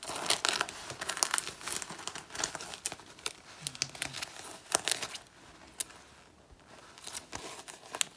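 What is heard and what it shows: Long natural nails scratch and claw at the front of a black faux leather jacket where the synthetic leather has a damaged patch. The result is a run of bright, dry crinkling and tearing scrapes in uneven bursts, with a quieter lull before a few final sharp scratches.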